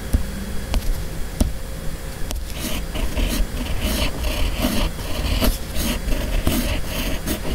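A steel fountain pen nib on a red pen body, held in the fingers, writes cursive across a flat white sheet of paper. After three sharp ticks in the first seconds, a continuous fine, bright scratching of the nib follows in irregular strokes over a steady low rumble.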